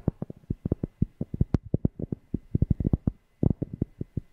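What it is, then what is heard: Cork tapped. A cork object is tapped close to a microphone in a quick, uneven run of about 28 deep, bassy thumps. Each thump is short and dry, with energy mostly in the low end. One tap near the middle sounds brighter, and there is a brief pause before the final cluster.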